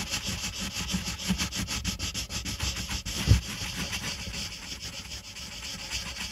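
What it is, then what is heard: Colored pencil scratching on paper. A pink wooden colored pencil, held in the fingertips, scratches and rubs over a flat, thin white paper coloring page on a table while shading the letter O. The result is a steady, bright, scratchy hiss made of quick, rhythmic back-and-forth strokes over a soft low rumble. A single louder, duller knock sounds about halfway through.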